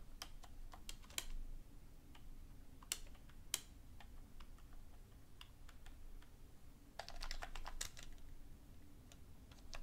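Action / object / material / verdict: tap / plastic computer keyboard / plastic / none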